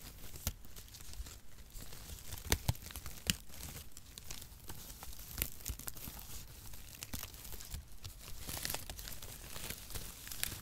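A handful of brown printed cardboard packaging shreds, loose mesh strips, is crumpled and rubbed between the fingers close to the microphone. The result is a steady, dense crinkling and tearing rustle, broad and bright, with scattered sharper crackles standing out above the soft texture.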